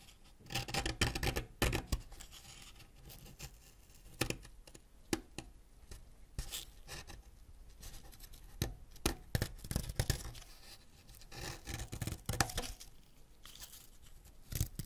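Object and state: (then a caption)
Wax crayon scraped. A white ceramic knife scrapes a solid yellow wax crayon over a pile of crayon shavings, producing wax curls and dust. Short, dry, scratchy strokes come in bursts, denser near the start and middle, with quieter rasping in between and a final louder scrape at the end.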